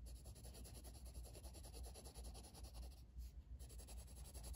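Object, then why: Wooden coloured pencil on a paper coloring-book page. A blue wooden colored pencil, held in the fingers, makes steady shading strokes across a flat paper coloring book page resting on a table. The quiet, continuous scratchy rubbing sits over a low rumble, with a brief lull in the bright scratching about three seconds in before the strokes resume.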